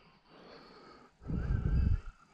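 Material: Nothing is struck.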